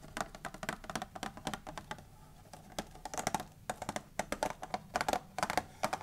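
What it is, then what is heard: Hollow cardboard candy box. Long manicured nails on both hands tap and scratch the lid of a closed, medium-sized, hollow Raffaello candy box made of printed cardboard, lying flat on a wooden table. About thirty quick, dry, hollow clicks with a resonance near 730 Hz ring out in rapid, uneven bursts. Soft scratching fills the gaps between them.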